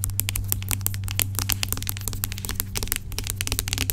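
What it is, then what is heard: Plastic pump bottle of gel. Long acrylic nails rapidly tap and scratch the sides of a large, dark plastic pump bottle of aloe vera gel lying on its side; the bottle is hollow and seems filled with gel. Quick, bright, crackly clicks and scratches fire in a dense, uneven stream over a steady low hum.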